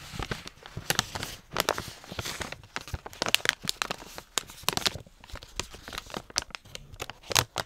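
Fingers with long nails tear the top strip off a Bakers Allsorts plastic dog treat pouch full of treats, then open its zip to reveal the treats inside. Bright, dry crinkling and tearing crackles come in quick, sharp bursts with little low end.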